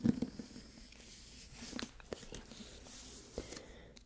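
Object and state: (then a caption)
Hardcover book with dust jacket. Fingernails scratch and trace across the glossy paper dust jacket of a solid hardcover copy of *Midnight Bayou*. The result is a quiet, dry scratching and rustling with a few soft clicks and taps scattered through it.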